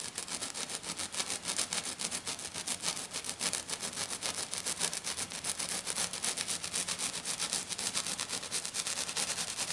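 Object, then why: Glitter sheet scratched and tapped with fingernails. Short, dark-painted fingernails on one hand scratch and tap hard and fast across a flat silver glitter sheet lying on a table. The result is a bright, hissy, gritty rasp broken into rapid, uneven bursts of about three to four per second, with almost no low end.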